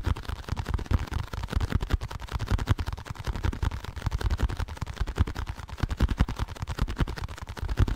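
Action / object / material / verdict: tap / small cardboard packaging box / cardboard / none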